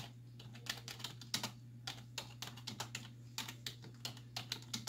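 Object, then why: Plastic computer keyboard keys. Both hands with long white nails type quickly on a black plastic desktop keyboard with hollow keys, striking with fingertips and nail tips. The result is a rapid, uneven run of bright, sharp, clicky taps that die away almost instantly, over a steady low hum.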